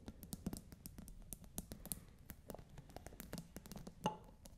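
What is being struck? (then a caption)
Plastic pod cap on a glass water bottle. Long nails scratch and tap the ridged top of a plastic scent pod capping a clear glass bottle partly filled with water. A rapid, steady run of dry, clicky taps is heard with soft scratching in between, ending in one louder tap that gives a brief glassy ring.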